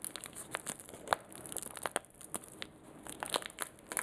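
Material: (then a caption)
Plastic. A small, flat, blue-and-white printed plastic sachet of a sanitizing wipe, sealed and filled with a wipe, is held and squeezed between fingertips with short nails. It gives quiet, crisp crinkling and crumpling with scattered sharp, bright crackles and clicks over a soft rustle. Each snap stops almost instantly.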